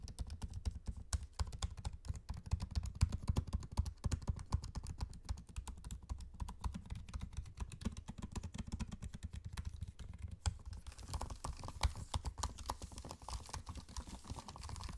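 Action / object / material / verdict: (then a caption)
tap / laptop keyboard with plastic keycaps and aluminium body / plastic / none. A laptop keyboard with plastic keycaps in an aluminium chassis is typed on quickly by fingertips, first with one hand and then both. Dense, irregular stream of short, dull key taps with a low thump under each press, and a brighter, slightly busier texture in the last few seconds.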